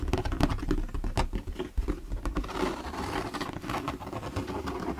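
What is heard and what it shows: Fingertips and nails tap and knock on the sides of an empty, hollow, translucent plastic storage box held at an angle. The result is a quick, irregular patter of dull, hollow knocks with a low body and a faint mid-toned resonance, and each tap dies away almost instantly.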